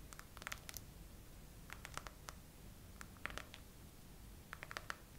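Long acrylic nails slowly tap and scratch the raised hollow heart bubbles of a soft clear silicone/TPU phone case on a phone mounted on a tripod. Quiet, dry, clicky taps come in four loose clusters. Each tap is bright around 1–2 kHz and stops instantly, over a faint low background rumble.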